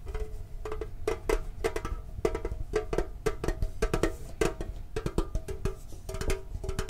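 A hollow, green, printed octagonal metal Pokemon card tin with its lid is held and tapped with the fingertips and thumb. It produces a quick, uneven run of light, hollow taps, each with a brief metallic ring around 445 Hz over a low, soft thud. The taps die away almost at once.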